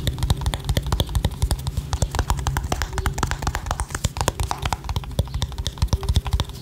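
Long painted nails tap rapidly on a small, hollow, white, round plastic cream jar with a printed label, held in one hand. The dense, irregular taps give dry, hollow clicks over a low, boomy body, each dying away almost at once. Faint whispering may sit underneath.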